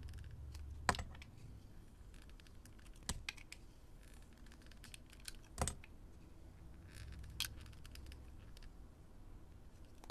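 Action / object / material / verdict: scrape / bar of soap / soap / none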